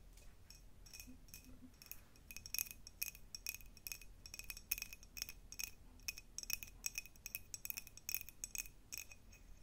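A tall, clear, diamond-pattern cut glass jar, hollow and empty and held in both hands, is tapped with long nails in a rapid, uneven series. Each tap is a sharp, bright clink with a very short ring near 2.5 kHz and high glassy overtones. A faint low hum sits underneath.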